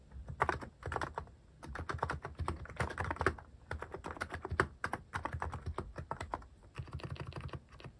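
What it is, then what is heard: Mechanical keyboard with plastic keycaps. Fingertips type on a mechanical keyboard with plastic cat keycaps, the hand partly covering the keys partway through. Quick bursts of dry, clacky keystrokes arrive in rapid runs separated by brief pauses, each with a low body and a bright click. The sound dies almost instantly with no ring.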